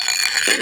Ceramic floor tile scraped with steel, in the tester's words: you can hear it's high pitched when it's bonded,